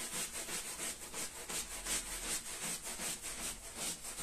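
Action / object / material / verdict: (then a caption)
scrape / wet wool pile rug scrubbed with a stiff-bristled broom / wool / none. A small, red, patterned wool pile rug lies flat on the floor, wet and foamy, and is scrubbed with a long-handled, stiff-bristled push broom. Steady back-and-forth strokes, close to three per second, make a bright, scratchy, wet hiss that swells with each pass.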